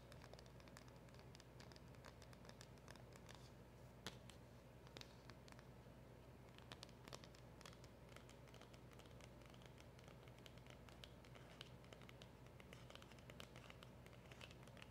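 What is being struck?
Small cardboard packaging box.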